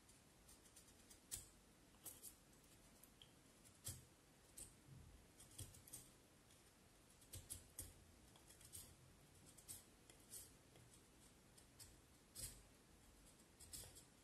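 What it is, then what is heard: Vine wood stick being carved. A small knife blade pares the surface of a solid vine wood branch held in both hands, making quick, short carving cuts. Each cut is a crisp, bright scrape or click with a soft low thump beneath it, separated by quiet pauses. The sounds die away almost at once.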